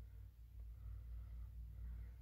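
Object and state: Nothing is struck.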